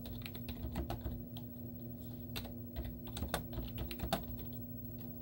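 Long teal-painted nails and fingertips type rapid taps on a white plastic laptop keyboard with hollow keys and cartoon stickers on them. The result is a quick run of short, hollow, clicky taps with bright edges over a steady low hum.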